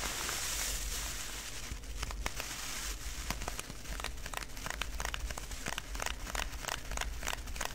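Fingertips and short nails scratch, press and squeeze a hand-sized clear plastic zip-lock bag, tightly filled with small colorful styrofoam beads, as it lies flat on a dark surface. The beads crackle and crinkle inside in dense, rapid bright snaps over a steady low hum.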